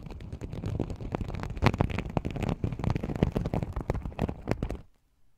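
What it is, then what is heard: Sequin fabric pouch, flipped sequins. Fingertips pinch and flip the sequins at the rim of a small, open, empty sequin-covered fabric pouch, making a dense run of quick, soft clicks and rustling crackles with a heavy low thump to them. The flicking continues unevenly for about five seconds, then stops abruptly into near silence.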